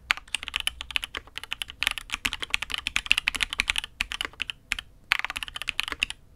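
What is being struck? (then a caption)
Mechanical keyboard with aluminium case and plastic keycaps. Both hands type with fingertips on a custom Matrix 8xv 2.0 mechanical keyboard with an aluminium case, INK Black switches and red and grey ABS keycaps. It makes a rapid, steady run of crisp, bright clacks with little low end and no ring. Brief pauses break the flow near the end.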